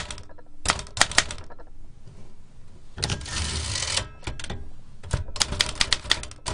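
Fingertips with long nails type continuously on a large black metal L.C. Smith & Corona typewriter with round keys, a hollow mechanical body and paper loaded. Sharp, bright key clacks come in quick bursts with a low thump under them. A denser, sustained rattle in the middle gives way to more rapid tapping at the end.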